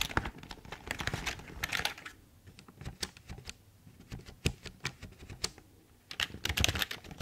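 A full-size, hollow black plastic Logitech keyboard is held up close while fingertips type and tap on its keys. Dense bursts of quick, bright plastic clicks open and close the clip, with sparser, separate taps in between. Each click is sharp and dies away almost instantly.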